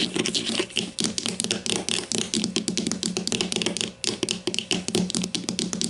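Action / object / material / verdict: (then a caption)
tap / plastic deodorant stick casing / plastic / none. Long matte mauve nails tap their tips rapidly on the top surface of a hollow grey-green plastic deodorant stick lying on its side on a white table. The result is a fast, uneven run of dry, bright, typing-like clicks with a hollow plastic body tone that dies away almost instantly after each tap.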